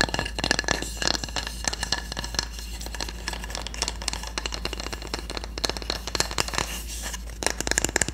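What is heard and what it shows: A solid, flat wooden cooking spatula has its handle and blade tapped and scratched with long nails. Rapid, dry, short clicks mix with bright scratchy rasps over a steady low hum. The tapping comes in quick, uneven bursts throughout.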